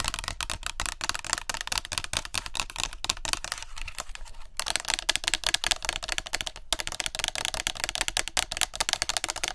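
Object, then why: Plastic spray bottle. Long nails rapidly tap and scratch a tall clear plastic body mist spray bottle with a green cap and yellow-green label, partly filled with liquid and held in both hands close up. A dense, fast stream of bright, crisp clicks and scratchy rustles runs throughout, with a brief softer stretch near the middle and a short pause before the tapping resumes.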